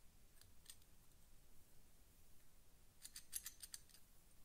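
A small flat steel door hinge with screw holes is held in both hands while fingertips work and twist the metal pin in its solid hinge barrel. A couple of sharp, bright metallic clicks come early, then a quicker cluster of clicks follows near the end, each dying out almost at once. A quiet low rumble sits underneath throughout.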